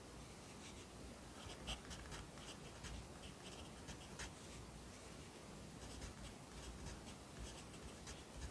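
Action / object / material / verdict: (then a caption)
scrape / pencil on a paper notebook page / paper / none. A yellow pencil writes on the right-hand page of an open lined paper notebook resting on a desk, just after a new page has been turned. Soft, continuous scratching of graphite on paper comes through with brief brighter strokes, over a steady low hum at a quiet level.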